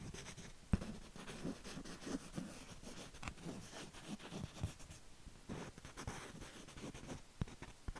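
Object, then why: Small painted canvas board. A small, thin, rigid canvas panel painted with cherry blossoms is held upright in one hand while the other hand's fingertips and nails trace and scratch across the painted surface. Quiet, low scratchy rubbing is heard with short sharper clicks scattered through it.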